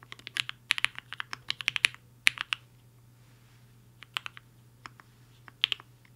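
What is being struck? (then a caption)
Mechanical keyboard with plastic keycaps. Fingertips of both hands type fast on a compact mechanical keyboard with a black case and white and pink plastic keycaps, resting on a desk mat. A quick run of bright, sharp clicky keystrokes fills the first two and a half seconds. After a pause, scattered single keypresses follow over a faint low hum.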